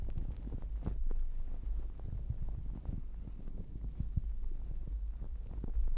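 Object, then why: Fuzzy fabric towel over a microphone. A fluffy, sparkly fabric towel wrapped over a microphone is scratched by long acrylic nails and rubbed and squeezed by fingertips throughout. The result is a muffled, deep rumbling with soft low thumps and crackly brushing, and almost no brightness. The level stays fairly steady for the whole clip.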